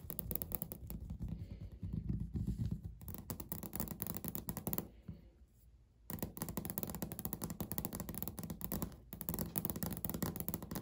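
Fingernails scratch and tap across a flat, solid, speckled beige laminate countertop, making a dense run of dull, low-heavy scrapes and clicks. The activity quiets to near silence for about a second midway, then resumes with busy scratching and tapping to the end.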